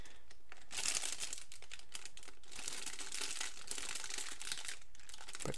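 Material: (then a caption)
Plastic. Both hands squeeze and shift a clear, thin plastic bag holding a medium-sized green and orange plastic Splatoon toy water gun. The bag gives a steady, bright crinkling and rustling for the whole clip, with a few sharper crackles along the way.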